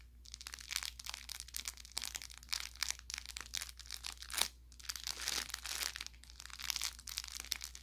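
A soft-stuffed orange velour plush carrot toy with crinkle filling is squeezed repeatedly by a thumb and fingertips around its middle seam. Dense, bright crinkling and crackling comes in quick bursts over a faint, steady low hum.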